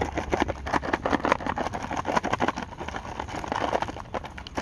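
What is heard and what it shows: A small, closed Sour Patch Kids candy box made of thin cardboard is rapidly tapped and scratched with paperclips worn on the fingernails while held up against the sky outdoors. The result is a dense run of quick, dry, papery clicks and scrapes with a hollow midrange tone near 1 kHz, over a steady hiss of rain in the background.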